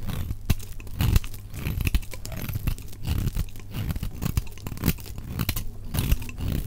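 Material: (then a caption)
Soap. A utility knife blade carves crumbly chips off a solid, dry orange-yellow soap bar held in the hand, with the clip played at double speed. A rapid run of short, crunchy scraping and cutting crackles is heard, with sharp bright snaps over a heavy low rumble, as the chips break away.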